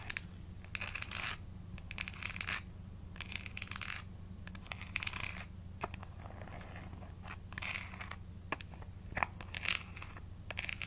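Long nails tap and scratch the top and rim of an embossed blue plastic screw cap on a small, hollow plastic vitamin supplement bottle. Bursts of bright, crackly scratching alternate with sharp, dry clicks over a quiet, steady low hum.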